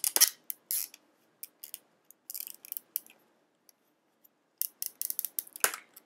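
A hand-sized clear plastic blister pack with a yellow card backing, hollow with small items sealed inside, is held in both hands and tapped and scratched with long painted fingernails. Sharp, bright plastic clicks and crinkly scratching come in short clustered bursts separated by quiet gaps, with almost no low end and no ring after each tap.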